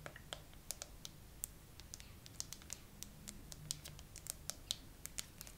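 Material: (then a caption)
Plastic. Long nails slowly tap and scratch a phone in a clear glitter plastic case with raised charms and pearls. Each tap is a sharp, bright, dry click that dies away almost instantly, spaced irregularly over a soft scratchy hiss and a faint low hum.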